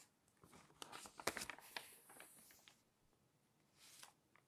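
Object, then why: Glossy paper magazine. Fingertips turn and smooth the pages of a thick, open glossy paper magazine. Quiet, bright crinkling and papery rustles build into a cluster of sharp crisp snaps in the middle of the clip. The sound fades to a soft hiss, then ends with a gentle sweeping swish and a few light ticks.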